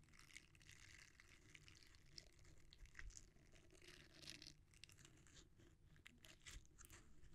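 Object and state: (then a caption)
Silicone scrubber pad being rubbed. A red, flexible silicone scrubber pad with dense short bristles, solid and thin, is squeezed, bent and rubbed between the fingertips of both hands. The result is a continuous, quiet, close-up texture of soft squishing and crackly rubbing with bright scratchy bristle flicks over a low rumbling bed.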